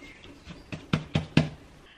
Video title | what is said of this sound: The Knight Before Christmas - Making Saffron Buns | hear that nice sort of hollow sound that it gets